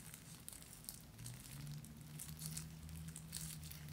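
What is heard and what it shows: A small black cloth drawstring pouch holding a bar of soap, with a paper tag attached, is squeezed and crinkled with fingertips and long nails. Soft, bright crinkling and scratchy rustles come in uneven bursts over a quiet, steady low hum.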